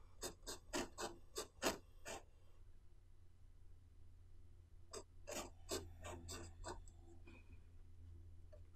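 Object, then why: Pen nib on paper notebook page. A blue pen nib scratches across the page of an open white paper notebook resting on a wooden table as Chinese characters are written. Thirteen short, bright, raspy strokes fall in two quick clusters separated by a pause of about two and a half seconds. A steady low hum runs underneath throughout.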